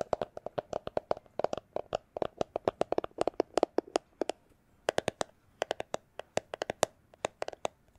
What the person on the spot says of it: it's a plastic glasses holder case